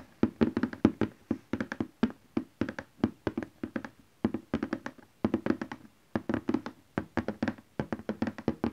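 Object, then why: Cardboard box with contents. Fingertips and nails of both hands tap quick rolling bursts on the top of a large printed cardboard box for a Canon Selphy photo printer, likely with the printer inside, lying flat on fabric. About 47 short, dry, hollow taps are heard, each with a papery thud centered low around 230 Hz and dying away almost instantly, with brief pauses between bursts.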